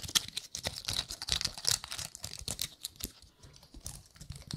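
Long nails flick and scratch the woody scales of a gold-painted pine cone. The result is a rapid, uneven stream of crisp, dry clicks and scratchy ticks, bright and high with very little low end, each snapping off almost instantly.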